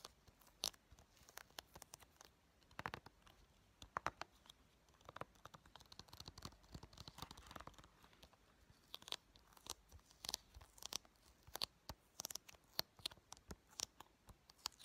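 Painted fingernails tap on the front cover of a blue plastic PS4 game case for Call of Duty Black Ops III, which is hollow, hand-sized and held in both hands. The result is a quiet run of sharp, irregular clicking taps with a bright, crisp tone and no ring.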